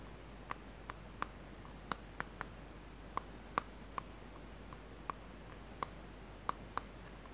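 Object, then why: Small plastic tub. A small, hollow blue plastic tub is held in both hands and turned while fingertips and nails tap and click on its surface and edges. Thirteen short, dry clicks ring out at irregular intervals, each with a crisp tone around 1.2 kHz and a bright tick. They die away instantly over a quiet, steady low hum.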